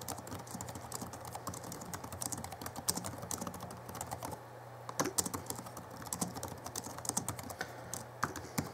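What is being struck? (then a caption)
Plastic laptop keyboard keys. Fingertips of both hands type fast on the backlit plastic keys of a small Alienware M11x R2 (2011) laptop keyboard, giving a dense run of short, dry, bright clicks and taps. A brief lull comes near the middle before the typing picks up again, all over a steady low hum.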